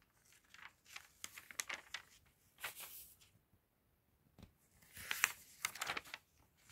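Fingertips and a cotton glove grip an open glossy paper magazine near the binding and flip its pages. The result is soft, bright crinkling and tearing-like rustles in short bursts with brief quiet gaps. The sound is thin, with almost no low end.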